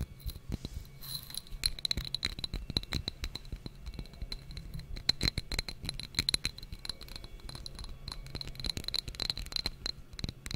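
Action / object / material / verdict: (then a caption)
tap / small textured glass jar / glass / none. A small, clear, textured glass jar or tumbler, hollow and empty, is held in the hands and tapped and scratched with long nails and fingertips close to the microphone. Rapid, dense clicks and taps run throughout, with a faint high glassy ring, scratchy patter and a low rumble underneath.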